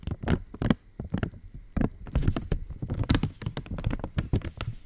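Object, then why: Foil-lined plastic wrapper. An opened purple Cadbury Dairy Milk wrapper of thin, foil-lined metallized plastic is tapped and scratched with long nails. It makes a quick run of dull, low taps and soft crinkly scratches with faint bright edges. Each sound dies away almost at once.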